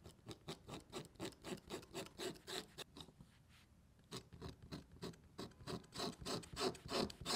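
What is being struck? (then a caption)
Leather panel. A pointed marking tool held in the fingers is drawn along a ruler, scratching and scoring a line into a flat, thin, solid piece of red and black dyed leather lying on a cutting mat. Quick, fairly regular raspy strokes with a bright edge repeat, pause briefly near the middle, then resume and grow louder toward the end.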